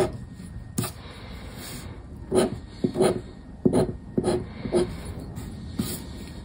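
A black disc scraper scratches the coating of the same 50X paper scratch card resting on wood, with pauses between strokes. Short, dry, raspy scraping bursts stand out against a quiet background, each fading quickly.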